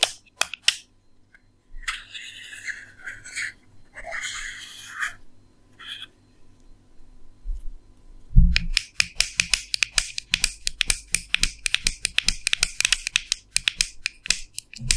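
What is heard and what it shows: A small, hollow, round blue plastic makeup compact, held in hands, is tapped and scratched with long nails on its lid and rim. A few sharp clicks give way to bright, rasping scratches, then a soft thump and a fast run of crisp, hollow plastic taps that continue to the end.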